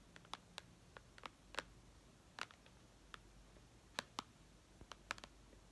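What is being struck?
Glass tablet touchscreen.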